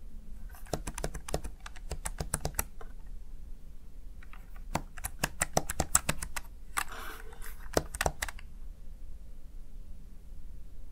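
Fingertips press and tap the keys of a small black plastic backlit gaming keypad, a Razer Tartarus Chroma, in two bursts of quick, sharp clicky strokes separated by a brief pause. The keystrokes are short and dry with a bright edge over a low steady background hum, and a soft rustling smear is heard between the taps near the end.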